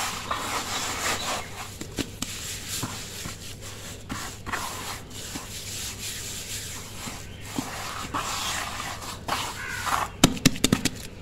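Bare fingertips and palms rub, press and pat loose, slightly damp grey-brown sand-cement mix in a large bowl, smoothing and crumbling its surface. A steady gritty, sandy rubbing hiss runs throughout, broken by soft crumbly pats, with a cluster of sharper pats near the end.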